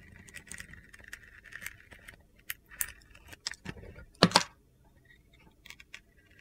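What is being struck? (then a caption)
Bar of soap with a glitter coating, scraped with a steel blade. A solid rectangular soap bar with a blue glitter coating and gold star studs is held in one hand while a steel utility knife blade carves and scrapes shavings off its surface. Soft, gritty scraping gives way to sharper, bright crunching cuts, with the loudest crisp scrape near the end before the sound falls quiet.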